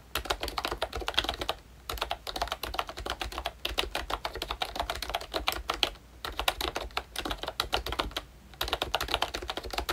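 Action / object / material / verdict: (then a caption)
tap / plastic membrane keyboard with round plastic keycaps / plastic / none. Fingertips type quickly on a full-size Mickey Mouse retro membrane keyboard, whose hollow plastic case and round plastic keycaps give dense, bright, short clacks. Typing runs in bursts separated by brief pauses near 1.7, 3.6, 6 and 8.4 seconds.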